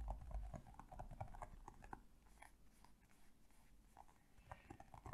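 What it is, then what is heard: Hollow plastic toy figure. A small, colorful, hand-sized hollow hard plastic toy figure with bunny ears is tapped with long painted nails. Quick, irregular clicking taps come about four per second over a dull, low body, strongest at the start, softening through the middle and picking up again at the end.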